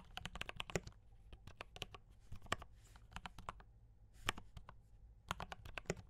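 Fingertips type continuously on a compact mechanical keyboard with brown switches and cream and red plastic keycaps. The result is a rapid run of short, sharp clicks and clacks with a few heavier strokes and brief pauses, over a low background hum.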